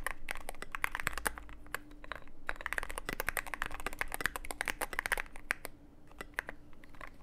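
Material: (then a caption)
Plastic. Rapid key presses typed with the fingertips of both hands on a full-size Cyberboard mechanical keyboard in a dark case with an LED panel, fitted with white and grey PBT/ABS plastic keycaps. The result is a quick, uneven stream of short, sharp plastic clicks and clacks with bright tops, over a faint steady low hum, easing off slightly toward the end.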